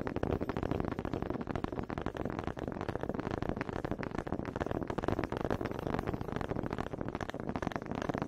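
Two small solid wooden honey dippers with grooved heads, held in both hands with long red nails, are knocked together close to a microphone. A rapid, uneven stream of dry, woody clicks and taps plays continuously, warm and mid-toned, with each knock stopping short and no ringing.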